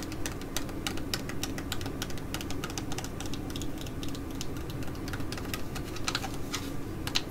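A flat Mediheal laminated plastic foil sheet mask pouch is held and tapped with long nails and fingertips. Quick, irregular, sharp clicking taps with bright, crinkly tops come one after another over a steady low hum.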